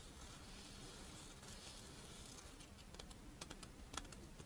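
A pink, fish-shaped strawberry rice wafer monaka rests in one palm while the other hand's long nails scratch and tap its embossed surface. A soft, steady dry scratching runs throughout, with a few sharp, bright clicking taps near the end, all at a quiet level.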